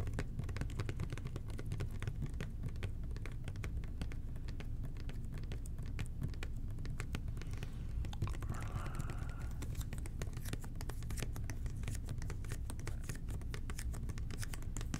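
Fingertips gently tap and scratch the sides of a medium-sized red and white plastic toilet cleaner bottle with a blue angled cap, likely partly full. It makes a steady stream of soft, rapid hollow clicks and light scratches over a constant low hum.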